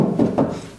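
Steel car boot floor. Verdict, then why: Solid. The steel boot floor of a Morris Minor, a spot that often fills with water and rusts, is tapped to check its condition. A few dull, low, mid-pitched knocks ring briefly and fade. The floor is solid with no rust.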